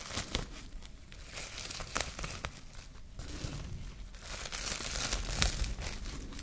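A clear plastic cling film sheet is held in both hands while the fingers crumple it into a small wad. Dense, irregular crinkling and crackling comes with sharp bright snaps and a soft low rustle underneath, growing slightly louder toward the end.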